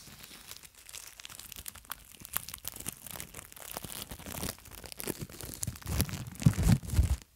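Long nails scratch and crinkle a long roll of clear plastic cling film held close to the microphone, making dense, irregular crackling and tearing rustles. The sound builds toward the end with heavier, low thumping crunches as a loose edge starts to peel away from the roll, then stops abruptly.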